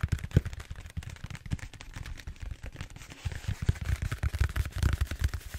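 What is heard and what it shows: Fingertips tap and scratch quickly on the surface of a large purple bead-foam styrofoam roller held upright. The sound is a rapid run of dull, low thumps with a faint dry scratching texture above them. Each tap dies away almost instantly, giving a dense, muffled pattering.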